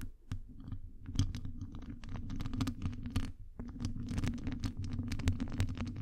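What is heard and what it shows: Long acrylic nails scratch and tap a hollow metal wire-mesh microphone grille, making a steady stream of crisp, dry clicks and scrapes. Each tap stops almost at once, over a low, boomy rumble that carries most of the sound. A few louder taps stand out near the start and end.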